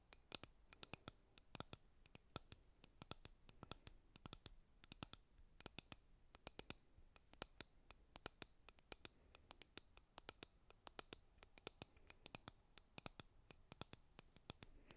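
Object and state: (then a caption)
Plastic hairbrush. Long nails scratch and pluck the bristles of a white plastic hairbrush, making a quick, uneven run of dozens of sharp, dry clicks. The ticks are bright and high with almost no low end, and each snaps off instantly over a faint, quiet background.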